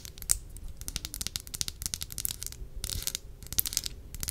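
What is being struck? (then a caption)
Small glass perfume bottle. A small glass perfume bottle with a green cap is held in the fingers while long nails tap and scratch the glass. A rapid stream of short, bright clicks and scratchy taps runs throughout, with a few sharper, louder taps and brief dense bursts of scratching.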